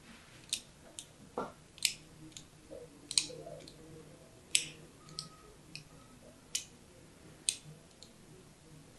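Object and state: Soap bar being carved.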